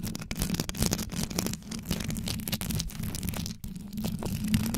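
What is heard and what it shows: Long yellow nails quickly scratch the top and sides of a black condenser microphone's rhinestone-studded grille. A dense, continuous scratching with a deep low rumble underneath and a crackly, bright texture on top, briefly dropping out just before the end.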